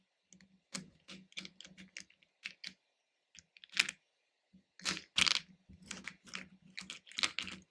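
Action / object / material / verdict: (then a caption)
shake / hard-shelled candy pieces in a plastic bowl / candy, plastic / none. Fingertips dig and stir through loose, capsule-shaped hard-shelled candies in a small pink plastic bowl. They make quiet, bright clicking and rattling in a run of short, separate bursts with gaps between them. Each burst dies away almost at once.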